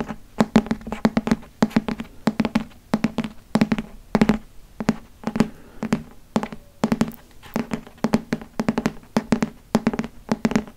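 Fingernails tap and scratch the glossy front and back covers of a solid green hardcover Harry Potter book. Quick clusters of short, dry taps with a low hollow tone come in bursts separated by brief pauses, and faint scratching runs in between.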